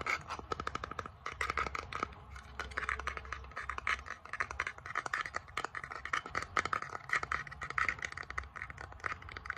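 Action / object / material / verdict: tap / small flat bamboo board / bamboo / none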